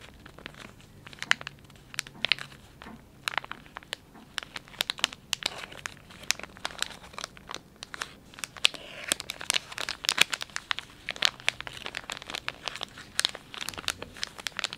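Fingers squeeze, fold and crinkle the soft plastic film of a filled, palm-sized Dettol wet wipes pouch. The result is a steady stream of bright, crackly crinkling, with dense sharp snaps and almost no low end. Each snap dies away instantly.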